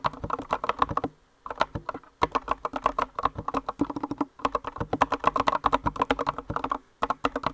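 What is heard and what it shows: A compact green mechanical keyboard with rounded white and green plastic keycaps is typed on rapidly by both hands with long nails. Dense bursts of short, crisp clacks ring out with a mid-range tone around 1 kHz. The bursts pause briefly near 1, 2 and 7 seconds.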